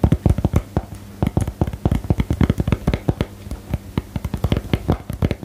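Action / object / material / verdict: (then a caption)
tap / small cardboard card-game box / cardboard / none. Long fingernails tap on a small, hollow, rectangular cardboard box for the 'Geheimakte' card game while it is held up. The result is a quick, irregular run of short, dull, low-pitched knocks that die away almost at once, with brief pauses between bursts.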